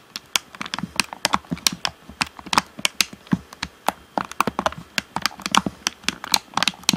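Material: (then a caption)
Plastic. Fingertips tap the face and shell of a hollow, black plastic Xbox One controller. About 33 quick, dry, clicky taps come in an irregular, rapid rhythm, each bright and very short with almost no ring and little low end.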